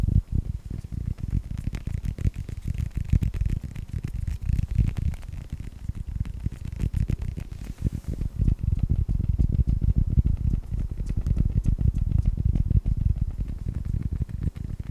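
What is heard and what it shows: A hollow, hand-sized yellow rubber toy ball in the Pixar style with a red star is held close to the mic and tapped and scratched with fingertips and short nails. It makes a dense, fast, irregular run of soft, muffled low thumps mixed with faint scratchy friction. There is a brief lull near the middle, after which the tapping grows busier.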